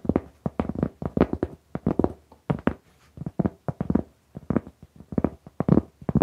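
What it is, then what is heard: Round cork board. Long nails tap and scratch the surface of a large, flat, solid round cork mat or trivet held upright in front of the microphone. The result is a quick, irregular run of short, dry, muted taps and brief scratches with almost no ring. The sound is dull and low-heavy, with very little high end.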